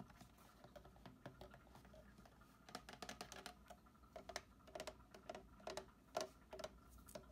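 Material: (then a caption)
Plastic. Fingertips and short nails tap and scratch the handle and body of a medium-sized, hollow green plastic watering can, with plant leaves nearby. It makes a quick, irregular run of soft, dry taps with a hollow mid-pitched knock around 630 Hz, mixed with light scratching that adds a high hiss. Each tap dies away almost at once.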